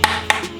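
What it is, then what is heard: Plastic charge pipe. Two quick taps on the plastic factory charge pipe of a Supra give short, hollow knocks with a bright tone around 860 Hz that dies away within about a tenth of a second.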